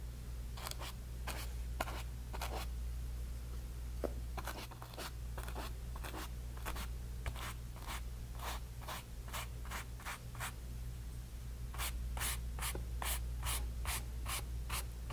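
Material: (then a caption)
Cotton canvas. A flat bristle brush is rubbed and stroked across a small stretched cotton canvas on a wooden frame, spreading wet orange and yellow paint. Short, bright scratchy swishes repeat at an uneven, quickening pace over a steady low hum. The strokes grow closer together and sharper toward the end.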